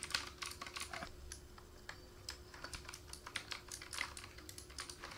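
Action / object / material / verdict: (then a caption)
tap / plastic mechanical keyboard / plastic / none. Fingertips of both hands type rapidly on the keys of a black plastic K28 mechanical keyboard with RGB backlight and a wrist rest. A dense, uneven stream of short, bright plastic clicks and clacks follows, each dying away almost at once. A faint steady low tone runs underneath.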